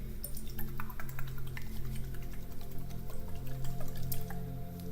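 A small decorative liquid-filled "fidget potion" bottle, a love or self-love potion fidget toy, is shaken, and the liquid inside makes quick dripping, water-like sloshing clicks. A steady low hum runs underneath the whole time.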